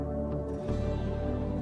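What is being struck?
Nothing is struck.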